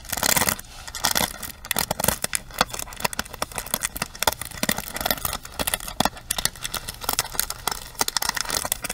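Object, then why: Plastic paddle hairbrush. Long nails scratch across the bristle pins of a pink plastic paddle hairbrush and tap on its frame. The result is a dense run of bright, dry scratching and quick clicking ticks with almost no ring and little low end.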